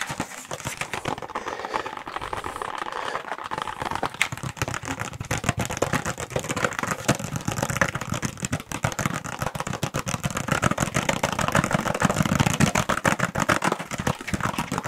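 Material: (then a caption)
Plastic, cardboard. Fingertips and nails rapidly tap and scratch a small, flat, hollow Intel processor retail box, made of cardboard with a plastic blister, close to the microphones. The result is a dense, nonstop stream of quick, dry clicks and crinkly scratches over a soft, hollow low body, with a slight swell in intensity toward the end.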